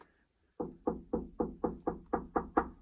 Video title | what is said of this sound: How to insulate a shipping container. Spray Foam Insulation. I.T.Creations￼￼ | deadened all the noise inside the container